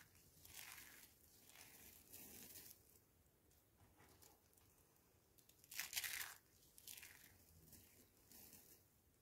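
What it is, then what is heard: Dry, brittle soap curls crushed. Small, thin, hollow rolled curls of dried pink, white and green bar soap are crushed, rubbed and crumbled between bare fingertips over a pile of soap crumbs on a white wooden board. The result is a series of quiet, dry, bright crackles and crunches with little low end, with the loudest crisp burst near the middle.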